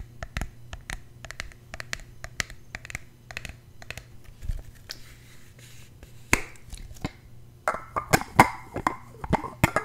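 A tall, slim red plastic fragrance mist spray bottle, hollow and partly full of liquid, is held in the hand while fingernails tap and scratch along its sides and cap. Quick, crisp plastic clicks alternate with short rasping scratches over a faint steady low hum. Toward the end the taps grow louder and more ringing, with a hollow mid-pitched tone.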